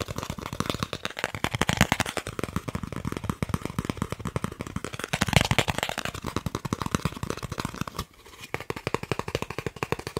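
A thin, solid green plastic gift card is held in the hands and quickly tapped and scratched with fingernails. The result is a dense, rapid stream of sharp clicks and scratchy rustles with a bright edge and a low thump under each tap, pausing briefly near the 8-second mark before continuing.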